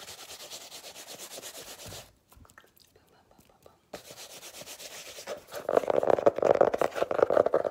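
Fingertips and nails rub and scratch the cover of a solid, illustrated, paper-covered hardcover notebook, making a quick, rhythmic, sanding-like rubbing. The strokes stop for about two seconds of near silence, then resume and grow louder and harsher toward the end, with a fuller midrange scrape.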